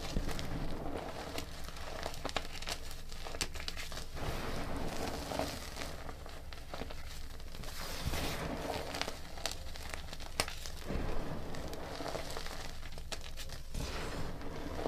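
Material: Chalk.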